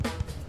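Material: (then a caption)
Bread. A knock on the bottom of a freshly baked loaf of bread gives a single dull, low thump with a hollow tone. The hollow sound shows the bread is baked through and done.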